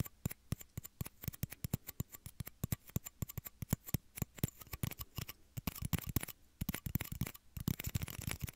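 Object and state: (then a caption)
Plastic shot glasses tapped. Two small, hollow, empty clear plastic shot glasses held beside the microphone ears are tapped with fingertips and nails. The result is a quick series of short, dry clicks and taps with almost no ring. The taps are evenly spaced at first, then grow denser and brighter, mixing with light scratchy scraping toward the end.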